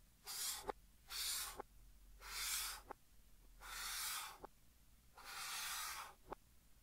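Fingertips hold a pink chalk stick and scratch strokes across a large flat green chalkboard, heard in reversed playback. Five bright, hissy scraping swells rise and fade, each ending in a short sharp click where the chalk meets the board, with quiet gaps between.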